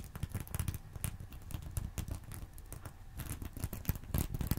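A fingernail scratches across a small reversible sequin fabric purse resting on a soft pillow. It makes a rapid run of soft, dull clicks and rustles with a low thumping body and brief bright flecks. Each tick dies out almost instantly, so the texture stays dense and muffled throughout.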